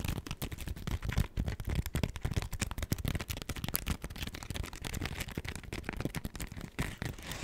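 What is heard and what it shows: Long acrylic nails scratch and tap a hand-sized smiley-face cleaning sponge made of soft, porous foam, with a pink textured side and a yellow foam layer. The result is a dense, rapid stream of dry, crackling taps and scrapes, heavy in the low end, with no ring after each hit.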